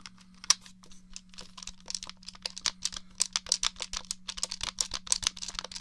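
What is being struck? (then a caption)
Plastic game controller. Fingertips and nails tap and click the buttons and shell of a grey, hollow, three-pronged plastic Nintendo 64 controller. A quick, irregular series of sharp, bright clicks and taps grows denser and louder, with each one stopping almost instantly over a faint steady low hum.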